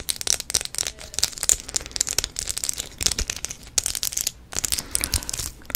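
Long nails tap and scratch a small, apparently empty clear plastic multi-compartment bead box held in the hands. The result is a dense run of crisp, bright clicks and scratchy rasps, with almost no low end and very short, dry decays.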